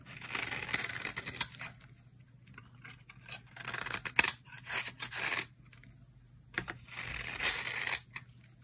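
A utility knife blade carves feathery shavings from the edge of a solid, dry green soap bar held in the hand. Three bursts of bright, crisp scraping and crackling are heard, separated by quiet pauses, with a faint low hum underneath.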